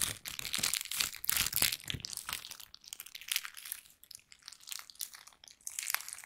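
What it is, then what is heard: Plastic bag being crumpled. A thin pink plastic bag is held in both hands and crumpled and crinkled with the fingers. The result is dense, bright, crackly rustling in irregular bursts, louder in the first two seconds, with brief quieter dips before the crinkling picks up again.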